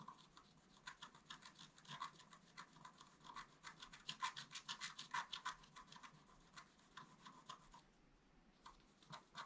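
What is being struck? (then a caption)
Coated scratch art paper card scraped with a wooden stylus. A wooden stylus scratches a leaf design into a flat, black-coated sheet of scratch art paper card. Quick, dry scratching strokes repeat a few times per second in an uneven rhythm, each a short bright rasp with a tone around 1 kHz. The scratching stays quiet and close, with no low rumble.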